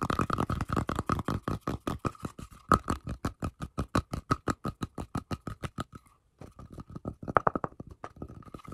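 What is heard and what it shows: Fingertips and nails quickly scratch and tap across the cut face of a round, solid wooden tree-trunk slice with a bark rim, held in both hands. About three dozen short, dry, rapid strokes form a steady rhythmic patter with a faint ringing tone near 1.3 kHz, pausing briefly just after six seconds before resuming more softly.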